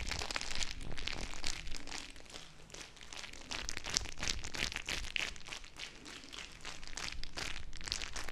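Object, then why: Small plastic bag filled with gel beads. A small, full, clear plastic bag of teal gel water beads is squeezed and crinkled by fingertips with long nails. It makes a steady stream of bright, crackly plastic crinkles and soft squishy pops. The sound eases off briefly twice before picking back up.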